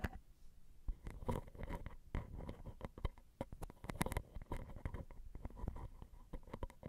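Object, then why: Metal microphone capsule grilles on a recorder. Long glittery nails tap and scratch the grilles of the small, hollow, crossed silver metal X/Y microphone capsules on a Zoom recorder. The result is a quiet stream of short, close, dry clicks and scrapes with a deep, boomy low end and only faint bright edges on the sharper taps.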